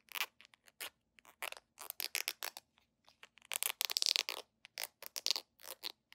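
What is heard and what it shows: A small, hollow red plastic squeeze tube, gripped in both hands, is scratched and rubbed with long nails and fingertips. A rapid, irregular series of short, dry, bright scratching bursts follows, with a denser, louder stretch of rubbing in the middle. Each burst stops dead, with no ring and almost no low end.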